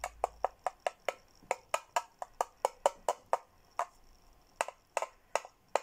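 A hollow teal plastic Hello Kitty tumbler is tapped on the inside with a red plastic straw. A quick series of about 22 dry, hollow plastic clicks comes in a steady rhythm. A short pause follows, then the clicks resume in a looser group. Each tap has a mid-pitched knock with a bright edge and dies away almost at once.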